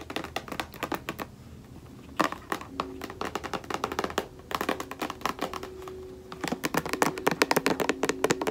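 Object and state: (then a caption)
Plastic lotion bottle. A white plastic lotion bottle is held sideways while long nails tap quickly on its labeled body. The result is a dense run of short, sharp clicks and light thunks with brief quiet gaps, over a faint low hum.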